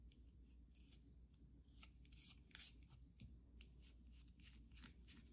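Long nails scratch and tap the surface of a solid carved white soap bar held in the hand. Bright, crisp scratching strokes and light taps come in an uneven rhythm over a quiet, steady low hum.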